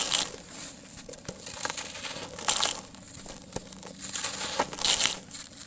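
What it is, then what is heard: Dry sand-cement lump crumbling. Fingers break pieces off the edge of a large, solid, dry, porous sand-cement lump and crumble them, pouring grains into a tub. The sound is a bright, dry, gritty crunching and crackling with brief scattered grain patter. It swells in irregular louder bursts between quieter stretches.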